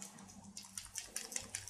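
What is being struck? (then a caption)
Plastic eyeliner pen with liquid ink. A new Essence plastic liquid eyeliner pen filled with liquid ink is shaken well, as it is meant to be. A quiet, rapid series of soft, high-pitched clicks and sloshes is heard as the liquid moves inside, over a faint low hum.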